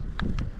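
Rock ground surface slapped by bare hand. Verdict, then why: Solid. A bare hand taps an ordinary solid patch of ground at a hilltop spot, producing short, dull, low thuds with little brightness. The spot sounds solid and unremarkable, different from the nearby resonant spot it is compared against.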